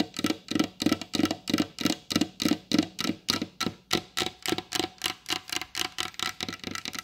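Long blue acrylic nail tips tap quickly and steadily on a large, solid wooden table with a glossy varnished top. Each tap is short and dry, with a hollow low-mid knock topped by a bright, clicky edge. The taps run in an even rhythm of roughly three per second.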